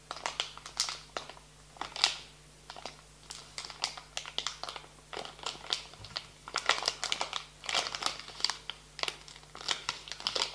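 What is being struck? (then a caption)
Plastic foil snack bag. A small, filled, blue and yellow printed plastic foil snack bag on a table is gripped, bent and crinkled with fingertips and nails. It produces dense, bright crackling and crinkling bursts that come in irregular clusters with brief quiet gaps. A faint low steady hum sits underneath.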